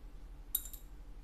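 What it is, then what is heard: Stock guitar bridge saddle dropped. The stock saddle from a Yamaha F310 guitar is dropped to compare it with other saddles. It lands with a short, bright click followed by a quick second tap, and the high ringing fades almost at once over a low background hum.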